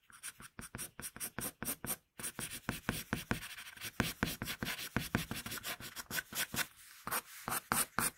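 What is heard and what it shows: A wooden pencil scratches sketch lines on a flat sheet of paper. It makes a rapid series of short, bright, scratchy strokes with a brief pause about two seconds in. The strokes then run faster and closer together, with a few spaced-out ones near the end.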